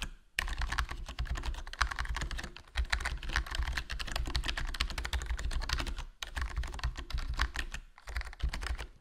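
Fingertips type continuously on a HyperX Alloy Core RGB plastic membrane gaming keyboard with a foam mod, a hollow black plastic case and black plastic keycaps. Rapid, dense keystrokes make soft, short clacks over a deep, muffled thump. Brief pauses in the typing fall near 2.7, 6.2 and 8 seconds.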